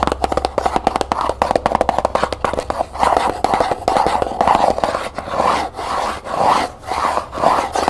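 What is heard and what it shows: Long nails tap, scratch and rub the sides and lid of a small hollow cardboard gift box covered in copper paper, held and then set on a table. Fast, crisp tapping with a dry midrange knock fills the first three seconds. It then gives way to slower, swelling scratching and rubbing strokes.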